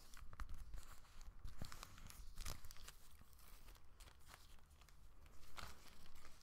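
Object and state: Plastic bag.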